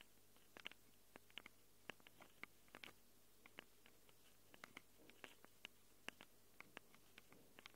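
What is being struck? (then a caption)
Handheld recorder microphone capsules, plastic and metal. Long acrylic nails quickly scratch and tap the plastic and metal-rimmed microphone capsules of a small handheld Tascam recorder. About 29 short, sharp clicks and scrapes sound close and bright, peaking around 2.8 kHz, with almost no ring. They sit over a quiet, steady low hum.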